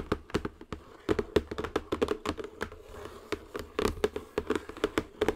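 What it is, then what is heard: Cardboard box tapped with fingernails. Long nails tap the surface of a cardboard zen garden box, turned around, while hands reposition it. The result is a steady stream of short, dry, hollow taps with a mid tone around 420 Hz and almost no ring, with quieter shuffling between them.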